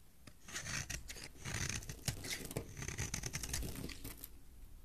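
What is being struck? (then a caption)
Bar of soap cut with a metal blade. A solid green bar of soap is held in the hand and cut with a metal blade into ridged shavings. The clip is a steady run of crisp, dry scraping and rasping strokes with bright, high edges over a soft low rustle. Sharper snaps come through now and then as the blade shaves through the soap.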